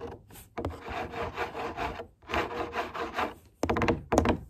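Long nails and fingertips rub and scratch the flaps and walls of a large, empty corrugated cardboard box. Two sustained, dry, rasping passes with a faint low hollow body are followed by sharper, louder scratches near the end.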